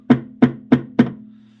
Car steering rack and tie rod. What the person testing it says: Этот специфический звук появляется только при ударе вниз. Либо вот так, либо опустив рулевую тягу.